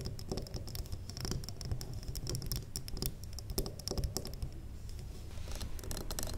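A large, square, solid wax pillar candle is tapped on its top and sides with the long acrylic nails of both hands. The result is a fast, continuous patter of short, dry clicks that die away almost at once, with bright ticks over a steady low rumble.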